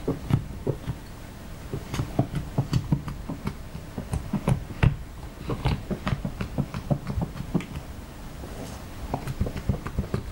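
A thin metal knife or spatula, held in fingers with long painted nails, is drawn through a large flat spread of soft, pale yellow butter slime (clay-based) lying on a light blue mat, scoring and scratching lines into the pliable mass. The result is a series of quick, soft, low scraping ticks and light taps with bright crisp edges in a quiet, close setting.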